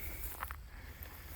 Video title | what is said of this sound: Growing Giant Pumpkins 9-6-21 update! | this pumpkin is solid um